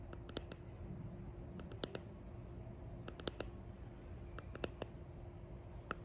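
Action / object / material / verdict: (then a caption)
tap / clear resin hexagon box / resin / none. Long painted nails tap and scratch along the faces and edges of a hand-held clear resin hexagon box with embedded pressed flowers and gold flakes. Short, sharp clicks with bright upper edges stand out in scattered clusters and die away almost instantly. A steady low hum with a faint midrange tone runs beneath them.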